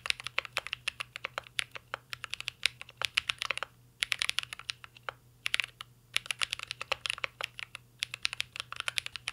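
Fingertips of both hands type continuously on a mint green Cyberboard R3 mechanical keyboard with a metal case and plastic keycaps. The result is a fast stream of sharp, bright clacks with almost no low end and no ring, broken by a few brief pauses.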